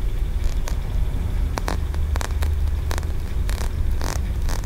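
Fingertips and nails tap and scratch the ridges of a solid green aventurine stone tiered pagoda, a feng shui ornament, held close. Short, bright scratching clicks and brief taps sit over a steady low rumble. The sounds die almost instantly with no ring.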